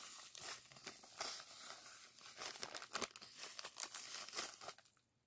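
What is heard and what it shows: Fingers squeeze, rub and crinkle a small clear plastic zip-lock bag of purple sand granules held in the hands. The result is a steady, bright crinkling rustle with sharp crunchy bursts of shifting grains and almost no low end. It fades out near the end.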